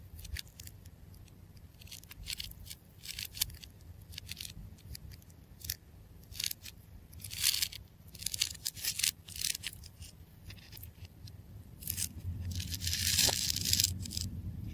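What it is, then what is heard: Tape ball cut with a craft knife. A craft knife scratches and cuts through the layers of a solid clear adhesive tape ball coated in blue star sequins, held in the fingertips. Short, bright, crisp scraping and tearing bursts come at an irregular pace over a low hum. Near the end they swell into a longer, louder rasping cut.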